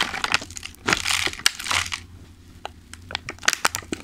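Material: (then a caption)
Plastic. Fingertips tap, press and crinkle a thin, clear plastic clamshell food container full of pastries. Bright, rustling crinkles swell in two bursts near the start, followed by scattered sharp, dry plastic ticks and taps over a faint low hum.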